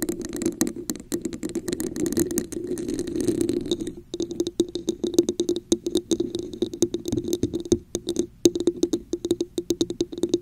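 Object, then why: Hollow textured plastic cup. Long nails tap and scratch the top and sides of a red, hollow, textured plastic cup placed over a microphone. A dense, scratchy rustle over the first few seconds gives way to rapid, dry, clicky taps with a hollow resonance around 344 Hz and bright ticking on top.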